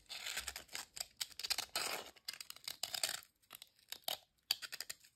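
A single thin, dry, crisp ridged potato chip is held over a glass bowl, then bent, snapped and crumbled by fingertips. The result is a run of sharp, bright crackling snaps and tearing crunches, with almost nothing low in the sound.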